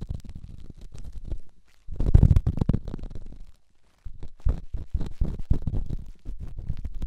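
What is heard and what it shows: A small solid rough rock held in the fingertips is rubbed and scratched against a silicone microphone ear. Dense, muffled low scraping and crackling bursts come in close, rumbling passes, separated by two brief near-silent pauses.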